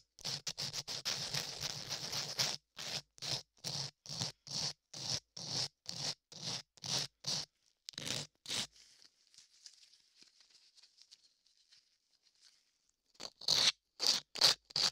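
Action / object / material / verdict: scrape / modeling clay ear over a microphone, rubbed with sandpaper / clay / none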